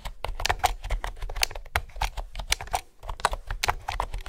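Fingertips with nails type on a mint green plastic retro keyboard with round pastel keycaps and a hollow housing. The result is a rapid, uneven run of short, dry key taps, each with a clacky mid-range knock, a bright click on top and a soft low thump. The taps stop almost instantly with no ring, and there is a brief pause near the three-second mark.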